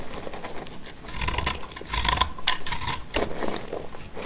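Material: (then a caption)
Soap. A solid white-blue dry soap bar piece held in the hand is scraped and cut with a black utility knife blade. Dry, crisp scraping and cutting strokes come in a steady run, with faint high ringing glints where the blade catches.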